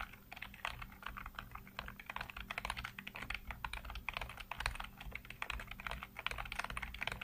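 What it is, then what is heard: Plastic computer keyboard being typed on. Fingertips rapidly tap and type on a full-size black plastic computer keyboard with hollow keycaps. The result is a dense, uneven stream of short, bright plastic clicks and clacks, each decaying almost instantly, over a faint steady low hum.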